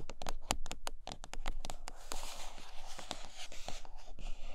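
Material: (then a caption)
Cardboard. Long nails tap and scratch the top and sides of a large white iPad Pro cardboard box turned on its underside. A quick run of dry, hollow taps with very short ring gives way to a bright, rustling scratching across the cardboard, mixed with a few more taps.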